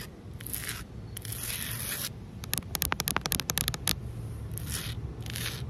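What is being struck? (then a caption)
Concrete pavement scratched with fingernails. Long nails on both hands scrape and scratch across flat, solid outdoor concrete pavement. Bright, hissing scrapes give way to a quick run of sharp, dry scratches in the middle, then further scrapes follow. A steady low rumble sits underneath throughout.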